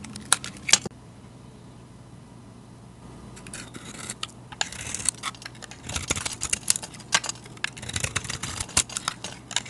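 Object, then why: Soap bar shaved with a knife blade. A utility knife blade shaves chalky flakes off a solid, hand-sized rectangular white bar of soap painted with a wave design, which is held in a hand with long dark nails. The clip opens with a couple of sharp clicks, then goes quiet before building into a dense run of dry, bright scraping and crisp shaving ticks.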